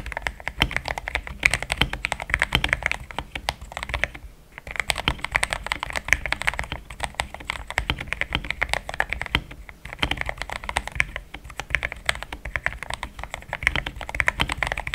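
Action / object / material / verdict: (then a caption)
tap / plastic mechanical keyboard / plastic / none. Fast two-handed fingertip typing on a compact pink-white mechanical keyboard with thick plastic XDA keycaps, a polycarbonate plate and linear switches, resting on a desk mat. Dense bursts of bright, short clacks with a faint low thock run nearly continuously, broken by brief pauses around 4.5 and 10 seconds.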